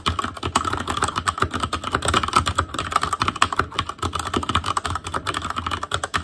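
Fingertips of both hands type continuously on an ASUS ROG Claymore Core mechanical keyboard with Cherry MX Red switches and black plastic keycaps on a metal frame, in a hollow housing with RGB backlight. A dense, steady stream of quick plastic clacks with a bright midrange tone near 1.1 kHz and a soft low thump beneath. Each tap dies away almost instantly.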